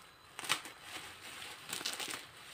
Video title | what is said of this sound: BUGÜNDE AKŞAM YEMEĞİNE ABLAM YOĞURT ÇORBASI MENEMEN YAPTI BENDE MAKARNA VE DÖNER SOHBET EŞLİĞİNDE | Bunlar nasıl böyle çıtır çıtır kalıyor şöyle.